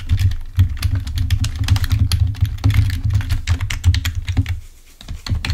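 Fingertips of both hands type rapidly on a full-size black plastic Microsoft keyboard resting on a table. Quick, short clicks and taps patter over a steady low hum, and the hum drops out briefly near the end before the typing resumes.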